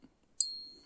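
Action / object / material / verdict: tap / silver crown coin / sterling silver / real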